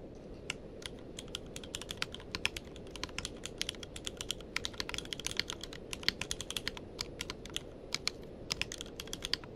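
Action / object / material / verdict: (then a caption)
tap / mechanical keyboard with plastic keycaps / plastic / none. Fingertips of both hands type continuously on a tenkeyless mechanical keyboard with plastic keycaps. Dozens of short, sharp, bright clacks follow each other in a quick, uneven rhythm over a low, steady background hiss, each keystroke dying away almost instantly.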